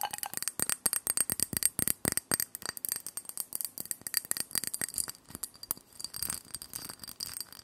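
A small, empty white ceramic dish with a scalloped rim is held in the hands and tapped and scratched quickly with long painted nails. The result is a rapid, steady run of crisp, bright clicks with a faint high ring that dies almost at once. Near the end the taps blur into a denser scratchy texture.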